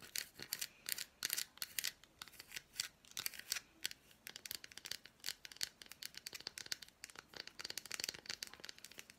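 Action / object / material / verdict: tap / milk chocolate bar / chocolate / none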